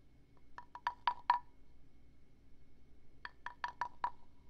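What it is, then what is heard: Carved wooden frog guiro. A wooden stick is rubbed and scraped along the ridged back of a small hand-carved wooden frog guiro held in one hand close to a binaural microphone. Two quick runs of five short, clacky croaking taps each ring around 960 Hz with bright edges, then die away almost at once. A pause separates the two runs, ten taps in all, over a quiet background.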